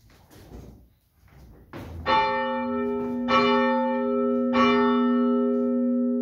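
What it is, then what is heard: Cracked church bell. The cracked fifth bronze church bell, which has a crack of less than a foot in its crown that still needs sound testing for length and will be welded, is rung three times after a few quiet rustles. Each strike gives a bright metallic clang with a long, layered ring that overlaps the next.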